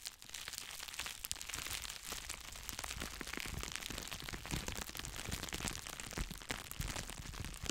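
Two clear plastic bubble wrap cones are squeezed and crinkled in both hands close to the microphone, possibly popping some bubbles. The result is a continuous, dense crackling and crinkling with many sharp, bright snaps over a low rumble.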